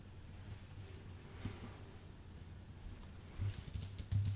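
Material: Aluminium, plastic.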